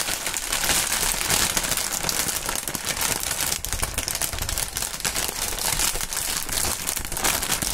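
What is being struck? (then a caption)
Polyethylene air-pillow packaging film. Clear printed polyethylene air-cushion packaging film, hollow air pillows, is crinkled and shaken in both gloved hands. It makes a dense, continuous, bright crinkling and crackling at a steady level throughout, with little low end.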